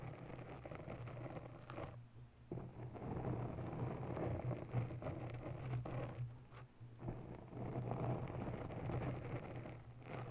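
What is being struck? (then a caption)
Foam microphone windscreen. Long natural nails slowly scratch the sides and top of a grey oval foam windscreen on a microphone in a white holder. The result is a soft, dense, muffled rustling over a steady low hum, with brief pauses around 2, 6.5 and 10 seconds.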